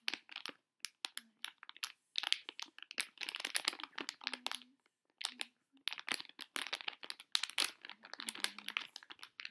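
Fingertips with long nails crumple and rub a small, sealed Neon Star collectible blind bag made of metallized plastic foil, held in both hands. Quiet, bright crinkling and crackling comes in rapid bursts separated by brief silent pauses.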